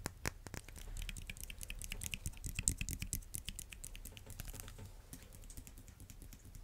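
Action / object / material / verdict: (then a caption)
tap / vinyl-coated hand dumbbell / vinyl / none. A solid red vinyl-coated hand dumbbell with black rims is held near the mic and tapped rapidly with fingernails. It gives a fast, dense patter of dry clicks with bright ticks over a low hum. The taps blur together rather than standing apart.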